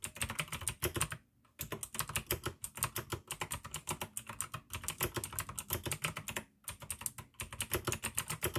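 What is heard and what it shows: Fingertips type fast on the keycaps of a full-size pink plastic AUKEY mechanical gaming keyboard with RGB backlight, clicky blue switches and a hollow case. The result is a dense stream of sharp, bright clicks over a hollow low clack, with short pauses near 1.3 and 6.5 seconds.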